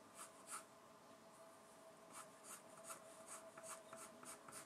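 A gloved hand draws with a wooden graphite pencil on a white A3 paper sheet bearing a bird sketch, resting on a wooden desk. It makes quiet, repeated scratching and hatching strokes, heard as short, irregular bright rasping bursts over a faint steady hum.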